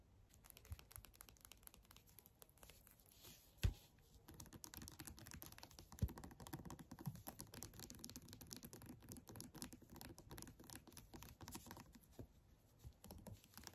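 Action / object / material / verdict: scrape / plastic squeeze tube / plastic / none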